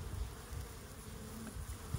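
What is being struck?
Nothing is struck.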